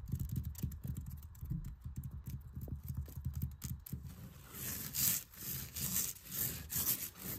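An open hand and fingertips rub and scratch across a cream quilted cotton tapestry with black stripes and dense stitching, hanging on a wall. For the first four seconds, rapid soft, low thumps and brushing dominate. After that, it turns into brighter, hissy scratching swells across the fabric.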